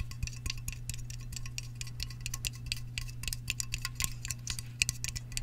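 Fingertips and nails tap and scratch the top rim and side of a hollow Sparkling Ice aluminum drink can (fill level not visible), then the can is held up. A rapid series of short, bright, metallic clicks and ticks with a ring near 2.5 kHz sits over a steady low hum, and each tap dies away almost instantly.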